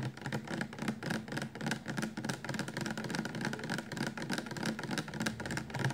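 Fingertips and nails tap quickly and unevenly on the sides of an upright 400 mL clear plastic shampoo bottle full of liquid. The taps run together into a steady stream of dull, low knocks with bright, clicky nail ticks on top, each one dying away almost at once.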